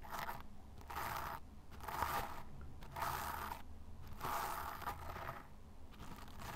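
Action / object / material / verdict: scrape / fine sand pile scratched with a small brush / sand / none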